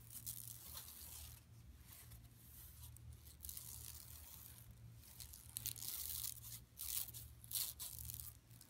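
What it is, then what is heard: Woven plastic mesh bag scratched with nails. Long nails scratch a large, flat, empty yellow woven plastic mesh tote lying on carpet, starting at the lower edge and then moving across the center. The sound is a bright, dry rasping, with scratchy bursts that grow sharper and louder toward the end, over a steady low hum.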